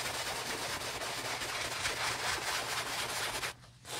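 A wooden-handled bristle brush, held in a gloved hand, vigorously scrubs the foamy fabric of an empty beige nylon Prada handbag near the zipper. It makes a steady, bright, hissing scrub that stays dense for about three and a half seconds. The scrubbing then stops abruptly, leaving a brief quiet tail.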